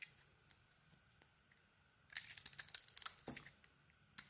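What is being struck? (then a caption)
Bar of soap. A small metal blade held in the fingers carves a solid orange bar of soap with a textured black coating, scraping and shaving it. After a near-silent start, a dense burst of bright, crackly scraping runs from about two to three and a half seconds, with a sharper scrape near the middle. It then falls quiet before one brief final scrape at the end.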